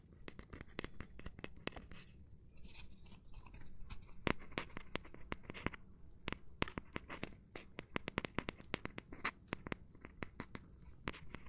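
Gloved hands tap and rub or scratch across a cork surface. A dense run of sharp, dry, bright clicks and taps with almost no ring sits over a soft, steady scratchy rustle at a quiet level.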